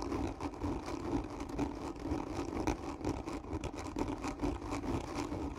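Long fingernails on both hands scratch hard and slowly across the top surface of a hollow, black textured cardboard gift tube. This produces a steady, rasping scrape with a hollow, boxy resonance in the low-mids, pulsing roughly twice a second with no pauses.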